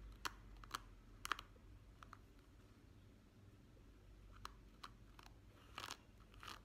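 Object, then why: Plastic hairbrush bristles. Fingertips and nails flick and scratch across the tips of a hand-sized hairbrush's many flexible, wavy, rainbow-coloured plastic bristles set on a black pad. The result is soft, sharp clicks and short crunchy scratches, scattered irregularly over a quiet low hum.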